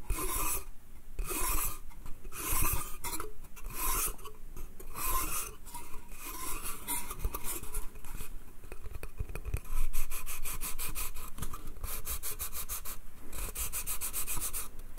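Fingernails scratch the slats of a small, hollow wooden slatted bath crate made of pine, held in both hands. The scratches come as raspy, bright strokes over a low, hollow body tone, at first in separate bursts and then as a quicker, steady run of short scrapes toward the end.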